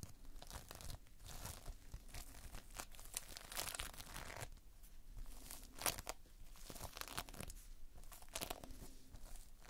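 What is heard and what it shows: Fingertips pinch and pull at the surface of multicolored Playfoam, a modeling material of foam beads in a sticky binder. The result is a quiet, continuous stream of short, bright sticky tearing and crackling bursts over a soft low rumble, with no speech.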